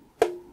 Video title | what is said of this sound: Débuter l'impression 3D résine pour 99€ ? 🤔 Que vaut la Geeetech Alkaid ? ft. @MorgensternPrinting | Ça sonne bien tendu.